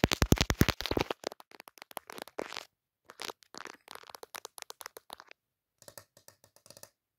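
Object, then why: Smartphone with plastic case and glass camera lens. Long dark fingernails tap rapidly on the glass camera lenses of a pink plastic-cased smartphone with a pop socket, held in one hand and seen in a mirror. A dense, louder burst of sharp, dry clicks comes first, then quicker scattered taps with brief pauses between them. The taps fade to softer, brighter ticks at the end.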